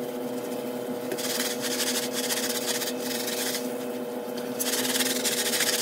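A small handheld brush scrubs a soapy, brown and beige thick-pile patterned synthetic shag rug lying on a tile floor, with one hand holding the rug. Rapid, bristly rubbing strokes come in bursts of bright, hissing scrape over a steady low hum.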